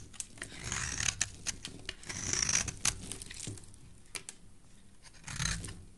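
A black utility knife blade shaves curls off the edge of a solid green, hand-sized rectangular soap bar held in a hand with dark painted nails. The result is dry, bright scraping and rasping strokes mixed with sharp clicks and crisp crackles.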